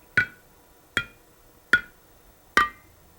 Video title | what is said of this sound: Boiling Water Canner Basics | Tap the lid with a spoon. You can hear that that one did not seal correctly.